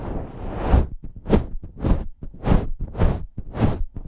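Fingers grip two matching slim silver metal pencil condenser microphones on stands, rubbing and squeezing the hollow cylindrical metal bodies near the top. The result is a series of muffled, low handling rumbles and soft swishing bursts in a loose, repeating rhythm.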